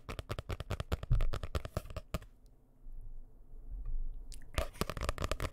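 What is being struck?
Hardcover paper book.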